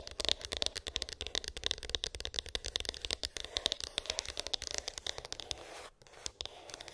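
A closed, small rigid cardboard iPhone box with a glossy printed top is tapped and scratched with long acrylic nails. The result is a rapid, dense stream of bright, crisp clicks and papery scratches, mostly high-pitched with little low end. There is a brief lull just before the six-second mark before the tapping resumes more softly.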